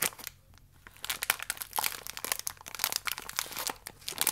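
A thin plastic wrapper around a single cereal biscuit, still full, is rubbed with fingertips and then cupped and squeezed in both hands. After a brief quiet stretch, it gives dense, bright, dry crinkling and crackling with quick sharp snaps. The sound is mostly high-pitched with almost no low end.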